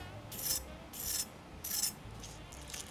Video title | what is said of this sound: 白滑 大胸 嫰口 多汁…的烤雞卷！聖誕別再只烤雞🍗皮脆肉滑無骨雞卷更受歡迎！｜中英字幕｜BigBoyRecipe 藍帶的餐桌 | Listen to how crispy the skin is